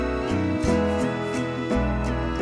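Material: Nothing is struck.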